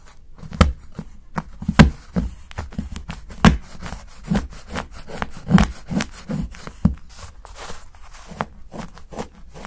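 A steel knife chops shavings off the edge of a solid dark chocolate bar held by fingertips. The result is a quick run of short, dull, low chopping knocks with a brief crisp snap on each cut, some louder than others, with little ring after each hit.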